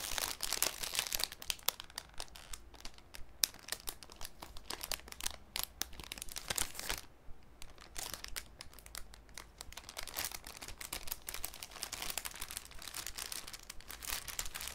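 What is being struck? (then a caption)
Thin cellophane sheet. A thin, clear cellophane sheet is crumpled and then smoothed out with fingertips over a wooden table. Dense, bright crinkling and crackling fills the clip in rapid bursts, with a brief quieter lull about halfway through before the sharp rustling picks up again.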